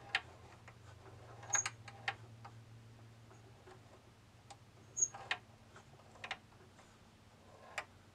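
A bamboo labyrinth maze toy is tilted by hand so its small steel ball rolls and taps against the wooden walls. About eight sharp, bright clicks stand out above a quiet rolling rattle, each dying away almost instantly.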